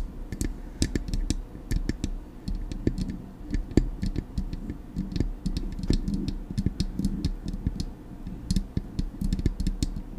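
Long acrylic nails tap rapidly and unevenly on the body of a silver metal Blue Yeti microphone. Each tap is a short, bright click that dies away almost at once, layered over a steady low, boomy hum that fills the whole clip.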